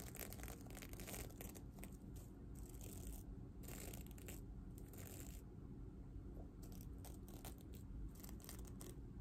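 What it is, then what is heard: Sequin-covered fabric pillow. Long dark nails scratch and brush across the reversible sequins on a medium red, soft stuffed heart-shaped pillow, making a steady stream of crisp, clicking, crinkly scratches. The sound is quiet and continuous, with bright rustling bursts over a low background rumble.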